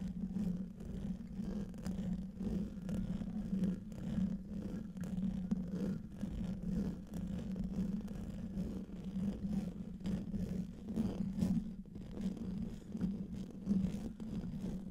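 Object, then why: Metal mesh microphone grille. Fingernails and fingertips of both hands, with rings on the fingers, scratch across the hollow metal mesh grille of a silver microphone. The result is a dense, continuous low scratching and rumbling with a steady hum-like tone near 190 Hz and frequent soft scrapes. Almost nothing bright sits above it.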